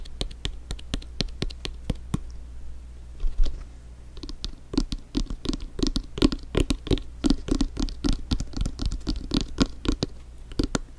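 An inflated soccer ball is tapped with quick, light fingertip strikes, giving dry, hollow thumps with a resonance around 280 Hz over a steady low hum. The taps start sparse and soft, then turn into a dense, rapid patter in the second half.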